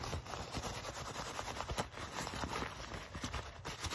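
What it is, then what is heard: Leather jacket being scratched and tapped. Fingertips and nails scratch, rub and tap the soft leather of a black leather jacket held in the hands. The result is a steady, dense crackle of scratchy rubbing with faint soft taps and a bright hiss running throughout.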